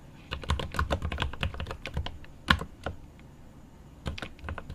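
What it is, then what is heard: Mechanical keyboard with plastic keycaps and aluminium case. A 75% mechanical keyboard with plastic keycaps on an aluminum case is typed on with the fingertips of both hands. Rapid, dry key taps come in a quick burst, then a short lull and a few more taps. Each click has a deep thud underneath and a bright top.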